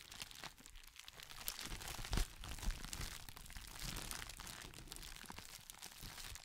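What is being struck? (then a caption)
Thin clear plastic sheet. A thin, clear, textured plastic crinkle packaging sheet is folded and held in both hands while fingertips crinkle and squeeze it, moving it from one side of the microphone to the other. A dense, continuous crackling and crunching fills the clip, bright on top with a low, handling-like rumble underneath. A few sharper, louder crackles stand out near the middle.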